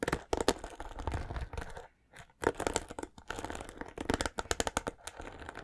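Fingers strum and scratch the bristles of a white plastic paddle hairbrush held near the mic, producing rapid, dry crackling and scratchy clicks with bright edges. The scratching runs in dense bursts, pauses briefly around the two-second mark, then resumes in quick flicking strokes.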